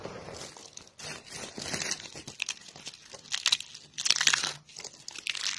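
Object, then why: Pile of soap shavings. Fingertips with painted nails press and crush a pile of thin, brittle, dry pink soap flakes and curls. Dense, bright crunching and crackling comes in repeated bursts, with almost no low end, and the bursts grow louder toward the end.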